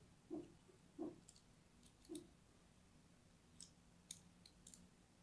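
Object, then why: Bar of solid soap scraped with a thin metal blade. A thin metal blade scratches lines into an orange and white striped solid soap bar held in the hand. Three soft, dull scraping strokes come first, followed by lighter, brighter, high-pitched scratches, each short and separated by quiet pauses.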